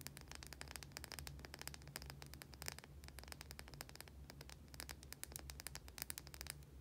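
A white, solid oval bar of soap held in both hands is scratched with long, dark-painted nails. The result is a dense run of quick, dry, bright scratching clicks over a steady low hum, with no ring after each stroke.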